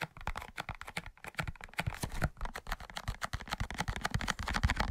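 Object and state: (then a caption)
Cardboard matchbox. Fingertips and short nails rapidly tap and scratch a large, closed, hollow cardboard matchbox with a red-orange label. The result is a fast, irregular run of dull, hollow low thuds with light, bright scratchy clicks on top. Each tap dies away almost instantly.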